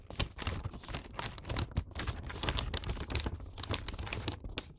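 A filled Santa-print paper gift bag lies on its side while fingertips and nails run along and fold its top paper edge. The result is a dense, continuous stream of crisp creasing, crinkling and rubbing paper sounds, with a low rumble underneath and bright papery rustle on top.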